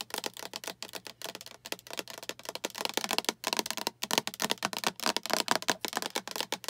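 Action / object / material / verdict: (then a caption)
tap / plastic food storage container / plastic / none. Long acrylic nails rapidly tap a translucent green plastic storage container with a diamond pattern and clip lid, held in both hands; it is hollow and looks empty. The taps are bright, dry, clicky and die away almost instantly, coming in quick, uneven bursts like typing, over a faint steady low hum.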